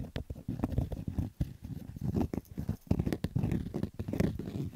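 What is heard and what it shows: A black Adidas fabric baseball cap with a stitched brim is scratched and rubbed with fingertips and short nails. The result is a steady stream of quick, rough, low, dull scratching bursts with almost no bright content.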